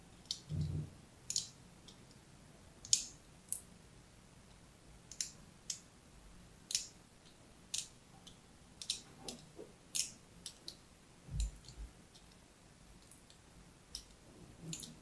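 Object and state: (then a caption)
Soap bar being scored. A thin pointed blade, held in a hand with long red nails, scratches diagonal score lines into the surface of a solid rectangular bar of pink-and-white striped soap held in the other hand. About nineteen short, crisp, bright scratching clicks are heard at irregular intervals, each dying away almost instantly. A few soft low thumps sit under the quiet, close-up scraping.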